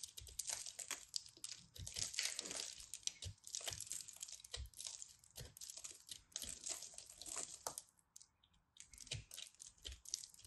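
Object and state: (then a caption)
Crumbled pressed soap ball. A solid pressed soap-flake ball is carved and scraped with a craft knife blade, and flakes crumble off onto a cloth. A dense run of bright, dry crunching and crackling scrapes follows, with short crisp bursts and soft low thumps. There is a brief quieter pause near the eighth second before the scraping resumes.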